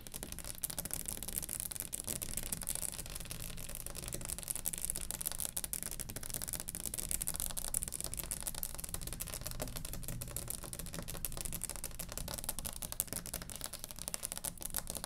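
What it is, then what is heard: Wooden table top. Long acrylic nails on both hands tap quickly across the flat surface of a large, round, solid wooden table top. The result is a steady, dense stream of short, dry, bright clicks that die out instantly, over a soft low rumble at a quiet, even level throughout.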